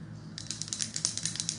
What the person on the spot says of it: You hear the little roller ball.